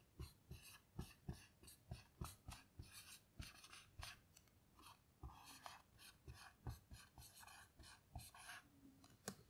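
A blue dry-erase marker writes large letters on a small melamine lap whiteboard lying flat. It makes a steady run of short, rasping strokes, each with a low thump of marker on board and a bright, scratchy squeak. Brief pauses fall between letters.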